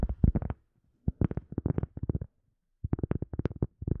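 A cork object is tapped with quick, soft fingertip-like taps in four rapid bursts separated by short pauses. Each tap is dull and low-pitched with no ring, the sound sitting mostly in the low frequencies.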